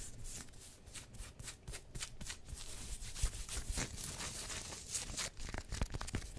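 A worn black pinstriped polyester sports jersey with a yellow collar and printed badges, made of thin synthetic fabric, is rubbed and scratched across the chest and shoulders by both hands with long nails. The sound is a steady, bright, sanding rub with repeated short scratchy strokes over a low rumble.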